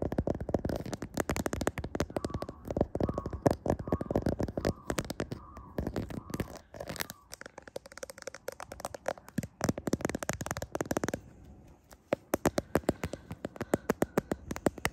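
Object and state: Smartphone in clear plastic case.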